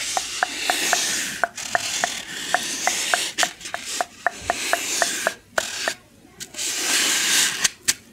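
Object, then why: Styrofoam packing block. Long painted nails scratch and rub a white styrofoam packing insert with a rectangular recess, held close up. A broad, bright rasping hiss comes in waves. Frequent short squeaky ticks sit on top, each pitched around 700 Hz with a quick decay.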